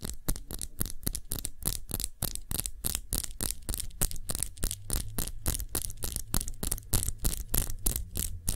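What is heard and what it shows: Long nails tap rapidly and unevenly on a small glass perfume bottle cupped in both hands, with its base facing forward. Each tap is a short, bright click that dies away almost instantly. A steady low hum runs underneath.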